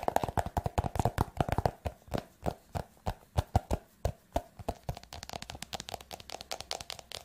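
Fingertips and nails tap the glossy cover and edges of a green and yellow paper notebook held in one hand. Around forty short, dry, hollow taps come in quick bursts at first, slow to a steadier, evenly spaced rhythm in the middle, then speed up into lighter, softer taps toward the end.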